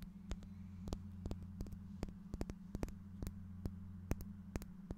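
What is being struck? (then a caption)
Small faceted glass piece. A small, clear, faceted glass piece, solid-looking and held in one hand in front of a microphone, is tapped and scratched with fingernails. Sharp, bright clicks and ticks come at irregular intervals over a steady low hum.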